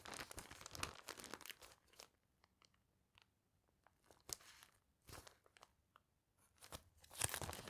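A single clear plastic sheet protector with a newspaper clipping inside is pulled out of a binder and held up in both hands while fingertips with long nails flex and crinkle the thin, flat plastic sleeve. Bright, crackling crinkles come in irregular bursts separated by near-silent pauses, with sharp snaps around the middle and a dense, loud flurry at the end.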